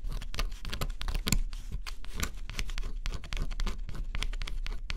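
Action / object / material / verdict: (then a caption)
scrape / cardboard puzzle with scratch-off coating, scratched with a metal stylus / cardboard / none. A small metal stylus held in the fingers scratches the black scratch-off coating on a flat, solid cardboard jigsaw puzzle. Close-up, it gives a rapid run of dry, papery scratches and ticks with bright, gritty edges over a low rumble. The strokes come in dense clusters, each dying away almost at once.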